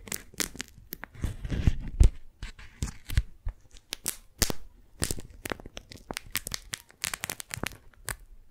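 Fingers peel the sticky folds of a pink strawberry-print, beeswax-coated cotton food wrap apart and crumple the sheet. The result is a run of quick, dry crackles and tearing crinkles with a low, muffled rustle underneath. Sharper snaps break through now and then.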